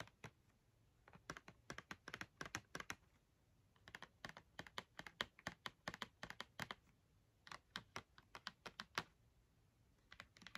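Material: Cardboard.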